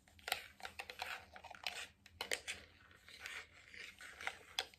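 A hollow, medium white plastic cream jar with a lid and label is tapped and scratched on its lid and sides with fingertips, nails and rings. The result is an uneven run of sharp, bright clicks and ticks that die away almost at once, mixed with soft, hissy scratching between them.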